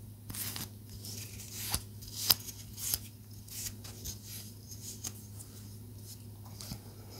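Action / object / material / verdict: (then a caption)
tap / small palo santo wood stick / wood / none. A small, solid palo santo wood stick is tapped and scratched with long nails. Four sharp, bright taps stand out above soft, crackly scratching and a steady low hum.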